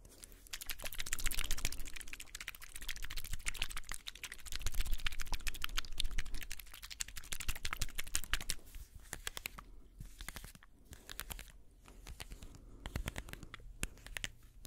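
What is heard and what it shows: Fingernails tap and scratch a strip of small, liquid-filled plastic saline ampoules held close to the microphone. The result is a dense run of quick, bright plastic clicks and scratchy crackling over a low hum. The sound is busiest and loudest in the first half, then thins into sparser, separate taps.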